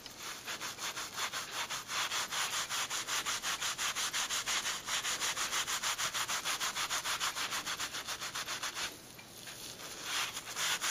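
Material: Leather.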